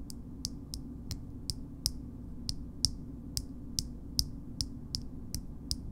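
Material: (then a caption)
Metal. Long nails tap and scratch the shiny gold metal screw lid of a small cosmetic jar. Fifteen short, bright clicks land at a slow, uneven pace, each dying away almost instantly over a steady low background hum.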